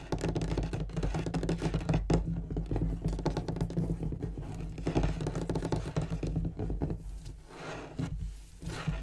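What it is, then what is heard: Wooden desk surface, tapped and scratched. Fingernails scratch and fingertips tap quickly across a large, solid, dark-stained wooden desk with a gold-tooled border, possibly with a leather inlay. A dense, continuous stream of soft, dull taps and scratchy rubbing, heavy in the low end with little brightness, lasts the whole clip, and each tap dies away almost at once.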